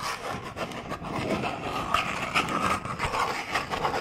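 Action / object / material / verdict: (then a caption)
scrape / small hollow cardboard box / cardboard / none. A small, long, hollow cardboard box labelled "Bamboo toothbrush" is scratched and rubbed along its length with fingernails. It makes a continuous dry, papery rasping with a bright edge and a faint hollow tone around 1.2 kHz, rising and falling in quick strokes.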